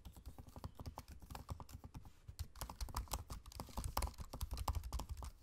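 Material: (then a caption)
Plastic. Fingertips type steadily on the low-profile black plastic keys of a space-grey aluminium laptop keyboard, with the trackpad beside them. Rapid, irregular keystrokes land as short, dry taps with a soft low thud and brief bright clicks. Each one dies away almost instantly, and the typing grows slightly louder and busier toward the end.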